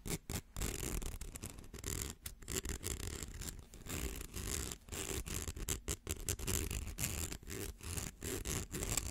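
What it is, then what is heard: Plastic slinky scratched. A fingernail scratches across the coil edges of a small rainbow plastic slinky held close to the mic, producing a dense, rapid rasping with bright, high scratchy texture over a low rumble. The scratching comes in quick bursts broken by brief silent gaps.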